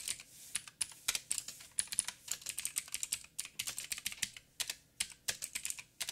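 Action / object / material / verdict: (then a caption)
tap / plastic mechanical keyboard / plastic / none. Fingertips of both hands type rapidly on a backlit 87-key mechanical keyboard with plastic keycaps and clicky blue switches. The result is a fast, uneven stream of sharp, bright clicks with almost no low end, each dying away almost instantly, with brief pauses between bursts.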